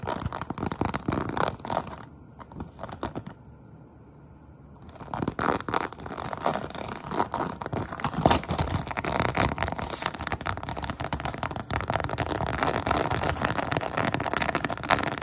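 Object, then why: Small textured vinyl pouch. Long painted nails tap and scratch the textured surface of a small, hollow, apparently empty iridescent holographic pouch made of crocodile-textured faux-croc plastic/vinyl. Rapid, uneven crinkly scrapes and clicks centered in the midrange around 940 Hz briefly drop to near silence, then resume as a dense, steady stream of scratching and tapping.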